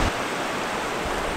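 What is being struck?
Nothing is struck.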